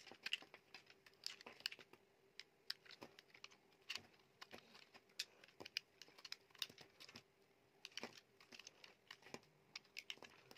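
A utility knife blade shaves and carves the surface of a solid, dry white soap bar held in the hand, scraping off flakes. Dense, quiet, bright scratchy clicks and crisp crackles follow one another rapidly with very little low end, each dying away almost instantly. A faint steady hum sits beneath.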